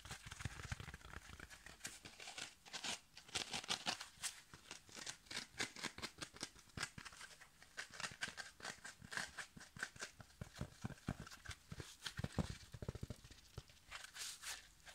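Fingertips rapidly tap and scratch the sides and surface of a soft, palm-sized rectangular yellow foam kitchen sponge with a green abrasive scouring layer. The result is a quick, continuous stream of dry, scratchy taps and crinkly rustles that are bright and short, with no ring after each touch.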